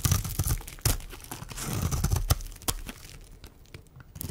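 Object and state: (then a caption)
Dry bar soap being scraped. A metal blade scrapes flakes off the face of a solid, dry pink oval bar of soap held in the hand. Crisp, crunchy scraping strokes come in irregular bursts with sharp, bright crackles and a soft low rumble underneath, fading quieter toward the end.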